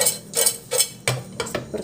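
A metal pot of popcorn is shaken and stirred, giving seven bright, ringing clinks as loose kernels knock against the pot. The ringing clink shows that some kernels in the pot did not pop.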